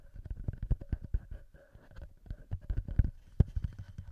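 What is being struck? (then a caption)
Metal microphone capsules and plastic body of a handheld recorder. Fingertips tap and flutter on the small metal microphone capsules of a TASCAM handheld recorder and on the plastic body between them. Quick, irregular, muffled thumps come in two clusters with a quieter pause between, mostly deep and boomy with faint hollow tones above.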